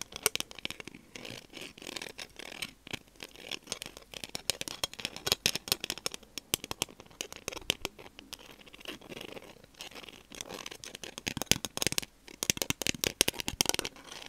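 A small, thin, solid, transparent semicircular Helix plastic protractor is held in one hand and tapped and scratched with long dark-painted nails, with an open metal tin sitting below it. Dense, bright scratching and scraping mixes with quick, dry taps that stop short with almost no ring. The sound stays mostly high and crisp with very little low end throughout.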